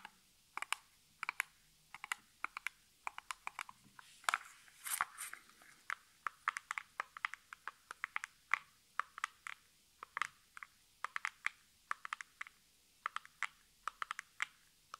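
Fingertips and long natural nails tap rapidly on the faces of a small, hollow, printed cardboard nail polish box held in both hands. The result is a steady stream of sharp, dry clicks with a bright, papery edge and almost no ring, with a brief rustling scrape near the middle.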